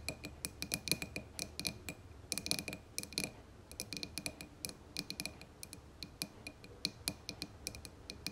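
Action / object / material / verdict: tap / glass candle jar filled with wax / glass / none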